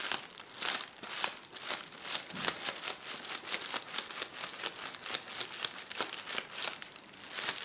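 Fingertips press and scratch across a roll of clear plastic bubble wrap lying on a table, making a steady stream of dense crinkling and crackling. The sound is bright and papery, with quick sharp ticks that fade almost instantly and no low end.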